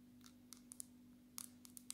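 A dark glass-screen smartphone, turned to show its screen, is tapped with long natural nails. Eight quick, bright clicks sound over a faint steady low hum, each one dying away at once.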